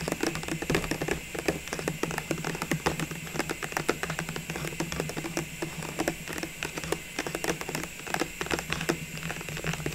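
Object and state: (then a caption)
Clear plastic ornament tube. Long fingernails on both hands tap rapidly on the sides of an open clear plastic ornament tube filled with small red, green, gold and white ornaments, while its removed lid lies untouched beside it. The taps form a dense, uneven patter of short, crisp plastic clicks that stop almost instantly, over a steady low hum and faint background hiss.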